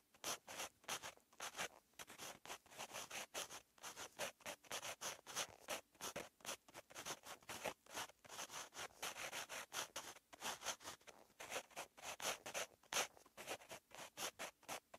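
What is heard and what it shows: A purple-ink pen held in the fingertips writes on a lined paper notebook page, its tip scratching and rubbing across the paper. The result is a quick, continuous run of short, bright, dry scratchy strokes with brief pauses between them and almost no low end.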